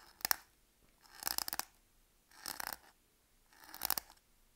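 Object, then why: Bar of soap scored by a knife tip. The tip of a utility knife blade scores and scratches lines into the surface of a solid, palm-sized green Palmolive bar soap held in one hand. Four separate bursts of crisp, bright scraping and crunching are heard, each made of quick rasping strokes, with quiet pauses between them.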